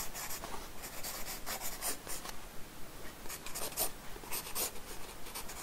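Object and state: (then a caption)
Pencil scratching on a paper sketchbook page. A pencil makes quick scratch strokes across a paper sketchbook page resting on a wooden desk, drawing hair. Many short, dry, bright scratching bursts repeat at a loose, uneven rhythm of roughly two per second, each fading almost at once over a faint low background hum.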